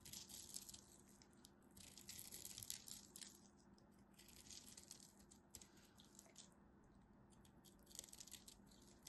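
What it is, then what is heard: Bar soap being scraped and cut. A solid blue-and-white striped bar soap is held in hand while its scored surface is scraped and cut with a craft knife, sending off crunchy chips. Bursts of dry, bright crackling and scratching come in irregular clusters over a faint, steady low hum, with quieter stretches between the scraping passes.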